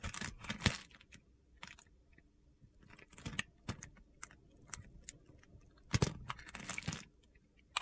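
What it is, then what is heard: Bar of soap being cut. A metal blade scrapes and cuts crunchy grid cubes off the remaining chunk of a solid yellow bar of soap held in the palm. Short, bright, crisp crunches and scrapes come in bursts, separated by quiet gaps with a faint low rumble. The loudest clusters are near the start and again toward the end.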